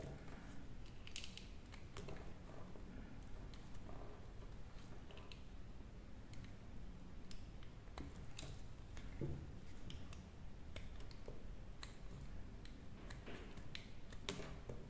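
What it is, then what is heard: Dry soap bar being cut. A metal blade scrapes and cuts slices off a solid, hand-sized pink dry soap bar held in the hand. Quiet, steady scraping runs throughout, dotted with many sharp, dry clicks and crackles as each slice breaks away, over a low, muffled rumble.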